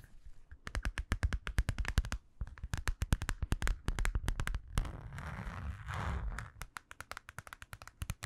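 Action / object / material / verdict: tap / small vinyl zippered pouch / vinyl / none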